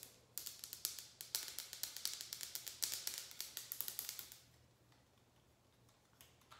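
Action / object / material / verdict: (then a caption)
tap / plastic and rubber shower squeegee / plastic / none. Long acrylic nails tap and scratch along the blade and head of a hand-sized shower squeegee, held in one hand, with a white plastic blade holder, rubber blade and grey rubber-grip handle. About 28 quick, crisp, bright clicks come in an uneven run for roughly four seconds. The clicks then fall quiet, with only a couple of faint taps near the end.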